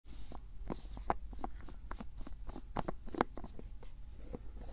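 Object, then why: Plastic screw-cap jar. A medium-size hollow white-grey plastic cylindrical jar with a screw lid is held by hand close to the mic while fingertips grip, twist and tap its cap. A quick run of short, dry plastic clicks and ticks sits over soft rubbing and scraping, with a steady low rumble underneath. Each tap stops almost instantly, with no ring.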